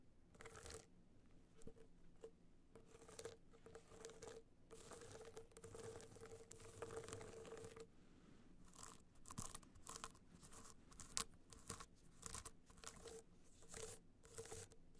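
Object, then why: Hard-shell clutch studded with rhinestones. A gold rhinestone-studded hard-shell clutch is held in both hands while long nails scratch and tap across its studded face. Quiet, dry bursts of bright, crinkly scratching come and go with short gaps and a few sharper clicks, over a faint steady low hum.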